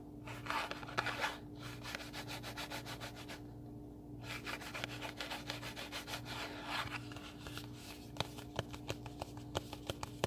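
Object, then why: Small cardboard box. A small, closed, hollow pink printed cardboard recipe box is held in both hands and scratched and rubbed with fingertips and nails. Quick, rhythmic dry scraping strokes produce a bright, papery hiss, with a short quiet pause near the start of the clip. Sharper isolated clicks follow toward the end, all over a faint steady low hum.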